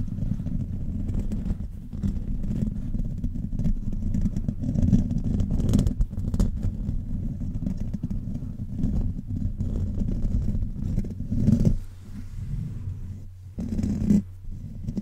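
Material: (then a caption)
Metal mesh. Fingertips of both hands scratch and rub the hollow metal mesh grille head of a silver condenser microphone throughout. The sound is a dense, continuous scraping and rumbling, heavy in the low end, with louder bursts of brighter, hissy friction at moments.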